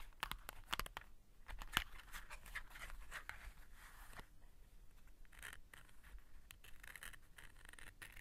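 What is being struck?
Cardboard matchbox.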